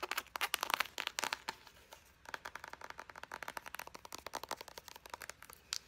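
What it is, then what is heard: Plastic lotion squeeze tube. A hand-sized, soft white plastic Pacifica Island Vanilla body butter tube, hollow and partly full, is tapped, scratched and squeezed with long blue acrylic nails. For the first two seconds, loud, bright crinkling and scratchy clicks come in dense bursts. After a short lull, a quieter stream of fast, crisp, even nail taps follows, ending with one sharper tap.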